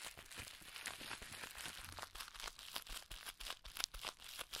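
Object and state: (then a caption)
Plastic bubble wrap crumpled. A clear plastic bubble wrap strip with air-filled bubbles is twisted and squeezed into a ball by hands. The result is a dense, continuous bright crinkling and crunching, with frequent sharp crackles and little low end.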